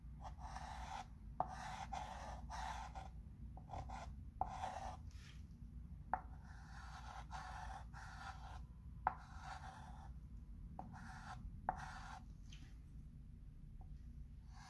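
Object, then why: Chalk pencil on a wood-framed chalkboard. A chalk pencil writes the word "october" across the dark surface of a flat wood-framed chalkboard while the other hand rests on the frame. Short bursts of dry, scratchy strokes alternate with brief pauses, punctuated by occasional sharp clicks as the tip meets the board. A steady low rumble runs underneath throughout.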